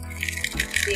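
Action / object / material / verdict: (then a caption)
shake / fried semolina-flour puri shells / fried dough / crisp. Fried golgappas (pani puri shells) made from semolina and maida, cooled for 10 to 15 minutes at room temperature, are rattled and tapped together. This produces a light, bright, dry clattering with quick crackly clicks, showing that the puris are crispy.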